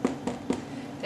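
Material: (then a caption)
Bread. Four quick taps on a freshly baked bread loaf give short, hollow knocks with a low resonant tone that dies away almost at once. The hollow sound shows the loaf is baked through, and its crust is crunchy.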